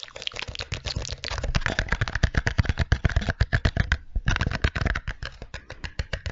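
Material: Cardboard.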